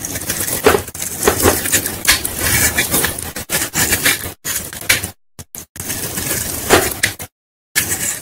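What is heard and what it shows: A knife's metal blade is pulled across a solid white bar of leftover Lifebuoy soap held in the fingers over a bowl, shaving off crumbly white powder and flakes. Repeated dry, bright scraping and crumbling strokes follow one another with short crackles, broken by a few brief silent pauses.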